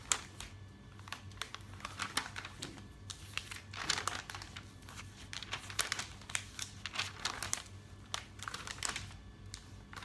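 Fingers with long nails riffle and flip the pages of a thick, open paper catalog. Quiet, bright, crisp rustles and crinkles come in quick bursts across the clip, each cutting off almost at once, over a faint steady low hum.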